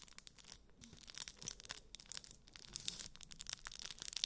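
A flat rectangular block wrapped in aluminium foil is held in both hands close to the mic while fingertips and nails scratch and crinkle the foil. The result is a quiet, bright, dense stream of crackly scratches and crinkles with almost no low end, growing slightly louder toward the end.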